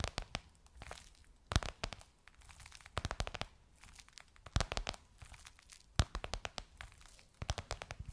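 Long nails tap and scratch the top and edge of a gold crocodile-embossed faux leather pillowcase on a soft cushion. Bursts of sharp, crackly taps with a bright edge and soft low thumps come in irregular clusters, with quieter scratching between them.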